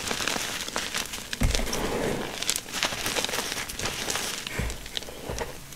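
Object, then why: Crushed gym chalk powder in a container. Bare hands press, scrape and scoop through a spread layer of powdery crushed gym chalk (magnesium carbonate) in a container. The result is a steady, bright crinkling and crackling texture with soft, dull low thumps as the hands press down.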